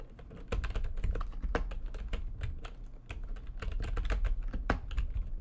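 Fast typing with long nails and fingertips on a full-size plastic backlit computer keyboard. It makes a rapid, steady stream of short clicking keystrokes with a deep, thumping low body and crisp, bright tips on each press.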